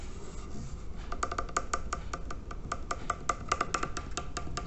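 Fingertips and nails scratch and rub the curved side of a large, hollow terracotta water filter with red bands and a label. A rapid series of short, dry scratches and taps rings with a faint pitched tone around 1.2 kHz over a steady low rumble. Each stroke dies out almost instantly.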